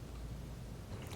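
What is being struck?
Nothing is struck.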